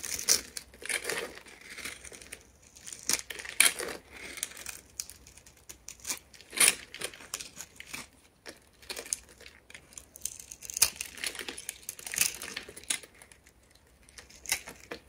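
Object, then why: Starch-dusted bar of soap scraped with a knife blade. A hand-sized solid blue bar of soap dusted with starch, held in one hand by long red-painted nails, is scored and carved with a utility knife blade. Dry, bright, crinkly scratching and crisp cutting strokes come in uneven bursts, with sharper cracks standing out among softer scraping and almost no low end.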